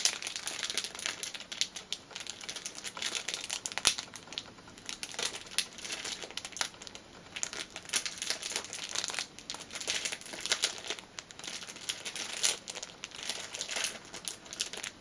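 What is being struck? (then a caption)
Thin clear plastic film strip. A thin strip of clear plastic film is pulled and stretched between both hands. It makes a steady run of dry, bright crinkling and crackling bursts with almost no low end and no ringing after each snap.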